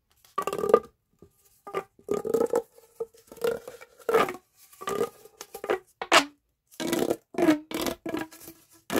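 A hollow, green corrugated plastic pop tube is bent into a loop and stretched out by hand with the fingertips. Each pull makes a short burst of rapid ribbed clicking and popping with a hollow, whistling tone near 470 Hz, some bursts sliding sharply down in pitch. The bursts come in quick succession, separated by brief silences, with bright, crackly upper edges.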